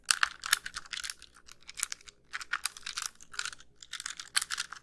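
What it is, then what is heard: Plastic handheld game console. Long pink nails tap the casing and press the buttons of a small white hollow plastic handheld game console held up close. The result is a rapid, irregular run of quiet, bright plastic clicks and taps with very short decay and almost no low end.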